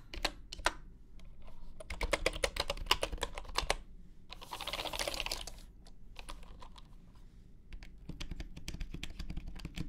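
Fingertips of both hands type steadily on a full-size bamboo wooden computer keyboard with wooden keycaps resting on a grey mat. Quick, dry, bright key clacks come in rapid runs over a low steady hum, broken midway by about a second of dense, hissy clatter before the taps resume.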